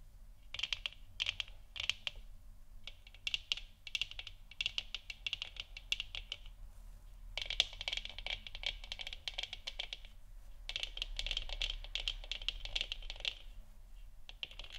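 Long nails tap rapidly across the top and sides of a large, hollow, 3D-printed plastic moon lamp sphere lit orange. The bright, dry clicks come in quick bursts separated by short pauses, each tap dying away almost instantly over a faint, steady low hum.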